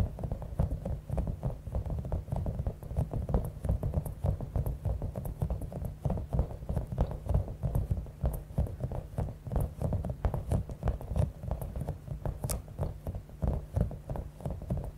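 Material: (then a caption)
Rubber. Long acrylic nails tap and scratch a palm-sized, clear, soft rubber stress ball with a spiky top, filled with small beads. The result is a steady stream of quick, muffled taps and scratchy patter, low and dull in tone, with short dry clicks that die away almost instantly.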